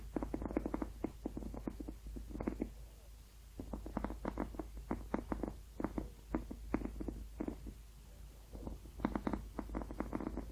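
A hollow blue ribbed rubber hot water bottle, held close, is scratched and tapped with painted fingernails along its ribs. Quick clusters of dry, muffled ticks and scrapes come in bursts with short pauses between them, each click dying away almost instantly. The sound has a dull, hollow midrange centred around 300 Hz over a steady low hum.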